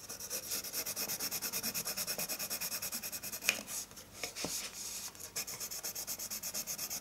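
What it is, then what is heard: Paper sheet being hatched with a pencil. A colored pencil tip hatches continuously across a flat sheet of white drawing paper resting on a wooden table. It makes a bright, dry scratching in dozens of quick, rhythmic back-and-forth strokes, with a brief irregular break near the middle before the steady rhythm resumes.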